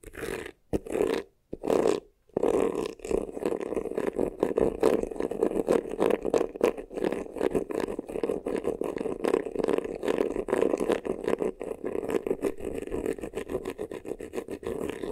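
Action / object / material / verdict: scrape / embossed faux leather vanity case / faux leather / none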